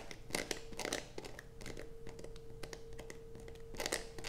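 Long fingernails scrape across a solid blue bar of soap resting on a black plastic sheet, steadied by one hand. Dry, bright, crunchy scratching comes in bursts, with the loudest clusters near the start and end, over a faint steady tone and low background rumble.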